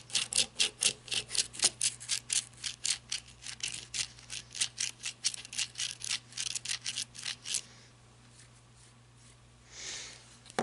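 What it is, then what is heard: Flashlight barrel scratched with fingernails. Long red nails scratch and tap along the barrel of a black matte flashlight (plastic or coated metal) resting on a wooden table. About 36 quick, bright, raspy strokes come at roughly two per second for the first seven and a half seconds over a faint steady low hum. Then it goes quiet except for one soft, airy swish near the end.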